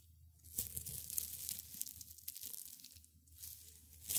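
Gloved hands in black and gray felt crush and rub a small pile of brittle dried rosebuds and petals on a white cloth. A dry, crunchy, tearing crackle comes in uneven bursts, mostly bright and high, with a faint low hum underneath.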